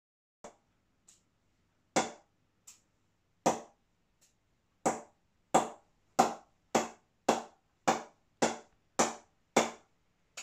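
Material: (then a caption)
Willow. An Adidas Elite XT cricket bat from 2020 gets a ping test: it is tapped repeatedly, about fourteen times at uneven intervals. Each tap is a sharp, short knock with a bright mid-range ping that dies away almost at once. The first few taps are softer, and later ones come faster and louder.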